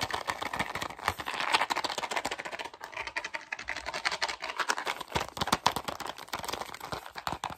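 A small, hollow white cardboard gum box is held up close and rapidly tapped and scratched with fingertips and short nails. It makes a dense, continuous patter of quick, dry clicks and scratchy rustles, bright and papery with almost no low end. Each tap dies away almost instantly.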